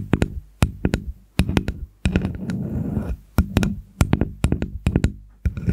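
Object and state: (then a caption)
Wooden spoon tapped with fingernails. A small, solid, red-stained wooden spoon is held over a fluffy microphone while long acrylic nails tap and scratch along its bowl and handle. Quick, dry clicking taps land in uneven bursts, each with a deep, close thud. A rasping scratching stretch runs through the middle of the clip.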